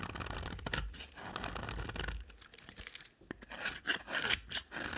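A hand with long black nails scrapes a utility knife blade across a solid, dry pink bar of soap, making a series of dry, crunchy scraping and shaving strokes. The sound is bright and gritty, with a low rumble under the first half and sharper, louder cuts near the end.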